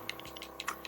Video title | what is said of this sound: AMAZON'S ART OF AIR AIRBRUSH MAKEUP TUTORIAL - DARKSKIN | So I'm shaking it up because it does have a little ball in it.